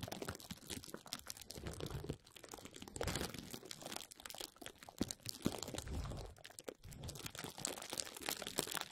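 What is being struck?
Plastic bubble wrap sheet.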